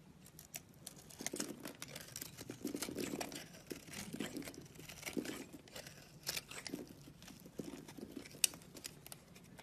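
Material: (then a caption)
Soap. A box-cutter blade scrapes and carves the scored surface of a solid round soap bar with an orange rim and a pink core, held in the palm, shedding small crumbly cubes. Quiet, dry, bright scraping and crackly crunching sounds come in quick bursts, with one sharper click near the end.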